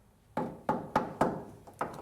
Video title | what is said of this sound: NH Oil Undercoating® 2017 workshops | you could tap on your frame and just listen to it you can hear the difference